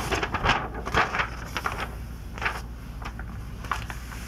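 An open glossy paper magazine, a 2002 issue of Sports Illustrated, is held by its edges as a page is turned, then fingertips are laid flat and rubbed across the spread. Bright crinkling and rustling bursts come early, followed by softer, intermittent papery scraping over a low background hum.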